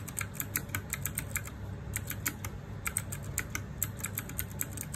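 Fingertips and nails type rapidly on a small RGB-backlit 60% mechanical keyboard with plastic keycaps. A steady stream of short, bright plastic clacks and clicks dies away almost instantly, over a constant low hum.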